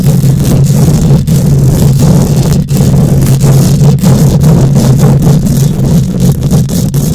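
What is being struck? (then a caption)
Steel mesh microphone grille. Long nails scratch across a hollow steel mesh microphone grille, producing a loud, continuous, rumbling scrape concentrated in the low end around 170 Hz. The noise stays dense throughout, broken only by brief dips, with faint bright rasping above it.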